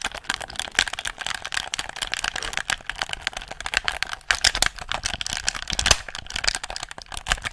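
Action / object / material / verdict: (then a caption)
tap / plastic game controller / plastic / none. Fingertips click the buttons and tap the shell of a handheld hollow black plastic gamepad, making a dense, rapid run of short, dry, bright clicks and taps. Each sound dies away almost at once, with little low end.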